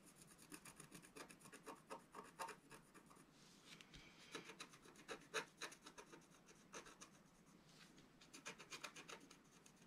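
A wooden stylus rubs and scratches across a flat black coated scratch art paper sheet lying on a table. Quick, uneven bursts of dry, bright rasping strokes come in clusters with short pauses, each stroke stopping almost at once with no ring.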